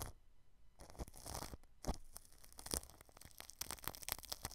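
A paintbrush brushes clear plastic cling film wrapped over the grille of a white microphone. Quiet, close crinkling and scratchy rustling strokes come in uneven bursts, with bright crackle and a soft low rumble underneath.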